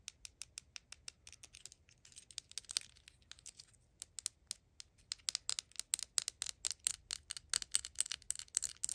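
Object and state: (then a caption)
Mini plastic mayonnaise bottle. A small, hollow, yellow plastic replica of a Hellmann's mayonnaise squeeze bottle is held in the fingers and tapped and scratched with long acrylic nails. The result is a rapid, uneven series of quiet, bright, dry clicks with no ring, mixed with brief scratchy rustles.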